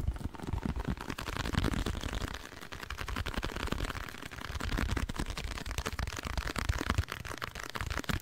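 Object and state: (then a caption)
Cardboard box, hollow. A small, hollow blue printed cardboard box with a colored side is held close to the microphone and tapped and scratched with nails. The result is a dense run of quick, dry taps and scratchy rustling with a deep, boomy low end. The sharp ticks and scraping brighten the upper range.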